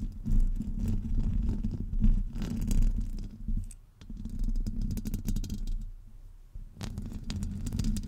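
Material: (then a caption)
Metal mesh. Long pointed nails on both hands scratch and tap across the top of a hollow, woven metal microphone grille. The result is a dense, low, rumbling scrape with soft crackly ticks on top, in steady bursts that dip briefly near the four- and six-and-a-half-second marks before resuming.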